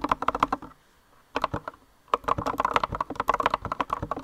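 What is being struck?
Mechanical keyboard with plastic keycaps.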